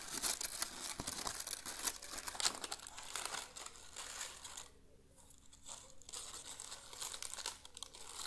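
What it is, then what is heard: Dry dead leaves. A bunch of dry, brown dead leaves is held in both hands in front of a potted plant and crumpled and crinkled with the fingers. The result is a dense, bright, crackling rustle with sharp crisp snaps. The sound briefly softens to a quieter lull in the middle before the crinkling picks up again.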